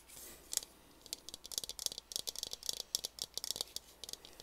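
Fingertips and nails scratch and tap the textured surface of a large blue translucent ridged plastic water bottle, hollow and apparently empty, held in both hands. A brief soft scratchy hiss opens into a quick, uneven run of about eighteen crisp, bright clicks and taps that stop dead with almost no ring, and the sound is thin, with barely any low end.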